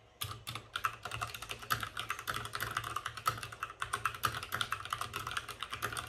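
Fingertips of both hands type fast on a white RGB-backlit mechanical keyboard with plastic keycaps and a hollow plastic case. A rapid, steady stream of sharp, clacky keystrokes rings briefly, with a bright midrange click and a light low thud under each press.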